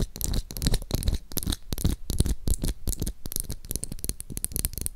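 Long acrylic nails scratch and tap the back and bristles of a pink translucent plastic glitter hairbrush held close to the mic. The result is a fast, uneven stream of dry, bright scratchy crackles over soft low thumps, each sound dying away almost instantly.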